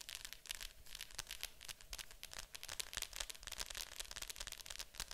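Long acrylic nails tap and scratch the top of a Disney Fantasia VHS case, a hollow plastic clamshell with a glossy printed cover lying flat on a table. The result is a quick, steady run of crisp, bright clicks mixed with dry scratchy rustling, each tap dying away almost at once, with little low-end body.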